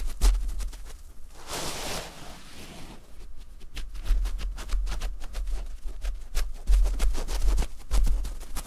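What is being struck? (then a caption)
Terry cloth fabric pad. Fingertips and nails scratch across the loops of a thin, soft, cream terry cloth fabric pad close to foam mics. Quick, dry scratching strokes crackle in a steady run, with a longer, airy swish near the start and a faint low rumble underneath.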